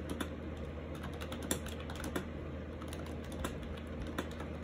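Fingertips type continuously on a compact gray and white plastic AJAZZ 308i wireless Bluetooth keyboard with round keycaps and orange accent keys, resting on a lap near a monitor. The hollow plastic keys give quick, light clicks and clacks, with a few sharper taps standing out over a steady low hum.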